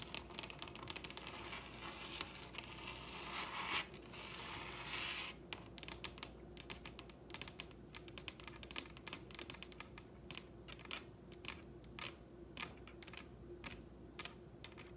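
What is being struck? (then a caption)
Wooden tabletop tapped with fingernails. Long red acrylic nails on both hands tap rapidly on a large, solid wooden dining tabletop, making quick, bright, dry clicks with very little ring. Around the fourth and fifth seconds, a brief scratchy, rubbing swish rises under the taps before the steady clicking resumes over a faint low hum.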